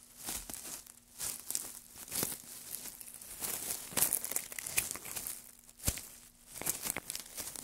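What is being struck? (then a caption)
Pile of wood shavings. A gloved hand crumples, presses and rustles a pile of dry wood shavings on a black surface. The sound is a dense, bright crinkling and crackling with sharp little snaps and brief swells of rustle, mostly high in pitch with little low end.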